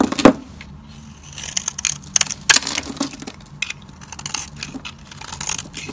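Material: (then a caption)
Soap. A hand-held, dry and hard solid purple Fa soap bar is carved and scraped with a metal utility-knife blade, and shavings flake off. Crisp, bright scraping and crackling cuts come at an irregular pace. Sharper snaps stand out near the start and midway through.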